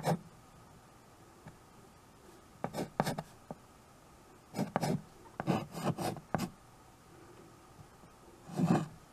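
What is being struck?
Small wood-framed chalkboard with chalk.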